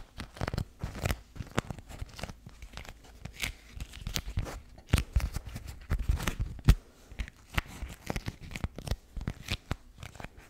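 A pink floral beeswax-coated cotton food wrap, a thin, stiff, waxed fabric sheet, is held in both hands close to the mic while fingertips crinkle, scrunch and rub it. The result is a steady stream of quick, dry crackles and crinkles with soft papery rustling between them. Short, sharp bursts stand out amid a low, thumpy handling rumble.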